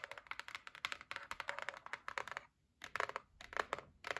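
Long nails rapidly tap and scratch the lid of a closed white cardboard gift box, making a quick run of dry, crisp clicks with a bright edge. The burst pauses briefly near the middle, then starts again. Each tap dies away almost at once.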